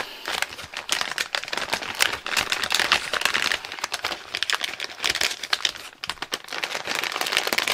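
Fingers crinkle and turn a medium-size, partly full Clover Chips barbecue corn snack bag of thin metallized plastic in the hand. The result is a steady stream of dense, bright crinkling and sharp crackles, with no low end and almost no ring after each crackle.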